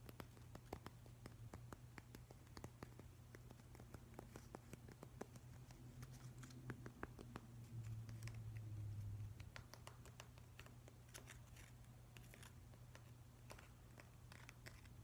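Fingernails scratch and tap along the rough grain of a grey, solid, weathered driftwood plank. Quick, dry, quiet taps and scratchy patters come in an uneven rhythm over a steady low hum, which swells briefly around the middle of the clip.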